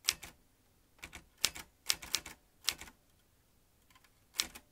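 Fingertips tap the chrome-ringed keys of a vintage metal manual typewriter, sending its metal typebars clacking in short, irregular bursts. Each keystroke is a sharp, bright, dry clack with almost no low end and a very short ring, with quiet pauses between the bursts.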